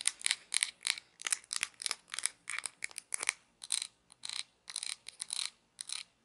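Fingers turn the grey wheel of a small plastic toy pizza cutter with a red hollow handle, giving a ratcheting, clicking spin. Quick bursts of dry, bright clicks come in rapid, uneven spurts with short silences between them. The sound is thin and high, with no low end and no ring after each burst.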